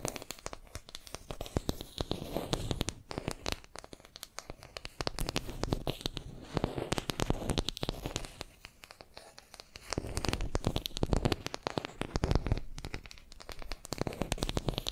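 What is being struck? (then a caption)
Small wooden makeup brush handle. Long nails tap and scratch a small, solid wooden makeup brush handle held in both hands between two microphones. Dense, rapid clicks and scratchy, crackling textures come in uneven bursts with very short decay, weighted toward the low end with occasional bright ticks. The overall level is quiet.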